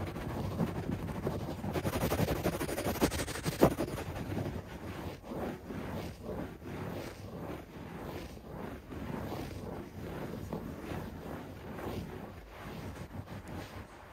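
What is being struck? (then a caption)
Shag carpet pile. Fingertips scratch and rub a beige shag carpet on the floor, starting with a dense, fast stretch of scratching for about four seconds. It then settles into repeated, rhythmic rubbing strokes, each a soft, dull swish of fibers that is mostly low and muffled, with little brightness.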